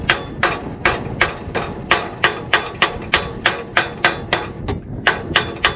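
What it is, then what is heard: Exhaust donut gasket fully seated on pipe. A hammer taps a donut gasket onto a scaled exhaust pipe with 18 sharp, bright, quickly decaying metallic taps at a steady rhythm. The change in sound shows the hammer is now striking the end of the pipe, meaning the donut gasket is fully seated right to the end.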